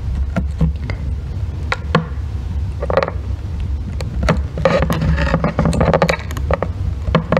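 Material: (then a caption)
Soap. A solid, palm-sized green bar of soap resting on a white box is scraped and carved with a thin metal blackhead remover loop tool held in fingers, with long red nails steadying the bar, and shavings fall away. Sharp, bright scraping clicks are heard repeatedly over a constant low rumble, with denser stretches of scraping in the middle of the clip.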